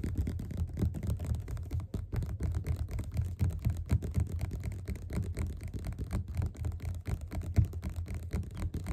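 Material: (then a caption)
Paper. Fingerpads of both hands tap fast on the cover of a yellow glossy paperback of Othello that lies flat, closed and solid, on a table. The result is a steady, slightly uneven stream of soft, muffled low thuds, about four per second, with almost all the energy deep in the low range and each tap dying away almost at once.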